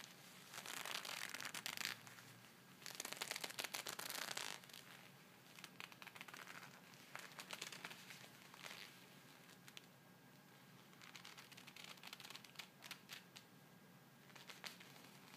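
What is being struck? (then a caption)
Pair of leather gloves. Gloved palms and fingers of a pair of black leather gloves, worn on both hands, are pressed and rubbed together. The result is a creaking, crinkling leather sound in bright, dense bursts that swell and fade over the clip, with quieter stretches between.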